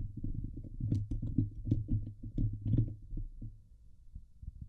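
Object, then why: Steel wire-mesh microphone grille. Long nails of both hands scratch the hollow steel wire-mesh dome grille of a Blue Yeti microphone. The result is a dense, boomy rumble of rapid scraping strokes centered low around 105 Hz, with occasional faint bright ticks. The scratching swells and fades, then thins out toward the end.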